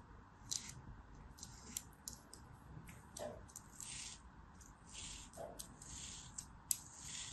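A round, molded beige kinetic sand dome, solid and held in the palm, is sliced in lines with a black craft knife. Each pass makes a short, bright, crisp crunching scrape over a quiet, steady low background hiss.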